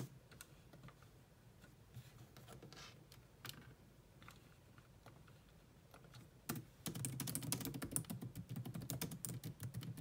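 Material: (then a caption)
Plastic. Long nails and fingertips type on a grey laptop keyboard with low-profile plastic keys, making light, quick clicking taps. The typing is soft and scattered for the first six seconds, then becomes louder, denser and brighter through the end.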